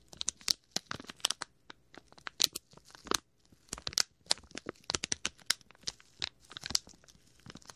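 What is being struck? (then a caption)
Thin plastic bag. A small clear plastic packet with a printed label is squeezed and crinkled by fingertips right next to the microphone's ear. Quick, sharp crackles and crinkles come in irregular bursts, bright and hissy with almost no low end. Each snap cuts off instantly.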